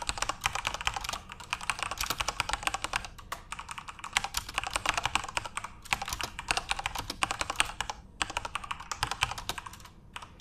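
Fingertips type continuously on a backlit plastic Corsair mechanical RGB keyboard. Rapid, bright, dry key clicks come in quick bursts with short pauses between runs. The clicks end abruptly with almost no ring.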